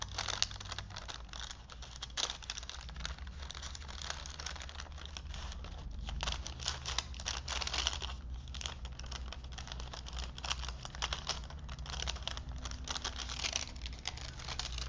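Both hands handle a vintage printed paper movie film strip wound on two wooden spools, with fingertips rolling and crinkling the paper. A steady stream of dense, bright crinkles and rustles with sharp little ticks runs throughout, over a constant low hum.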